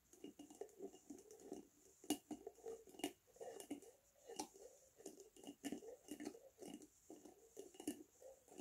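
A glass Lotus Biscoff spread jar with a red plastic lid is held tilted and tapped with fingernails on its glass body. Quick, light clinks with bright click edges ring briefly over a low, hollow tone around 290 Hz. The soft tapping continues steadily throughout.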